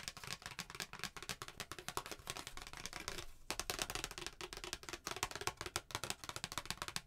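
A flat, thin, solid white handwritten paper Christmas card, held up in both hands, is tapped and scratched with long painted nails. Quick, bright, crisp taps and papery scratches run almost continuously, with a brief lull just past the three-second mark before the tapping resumes.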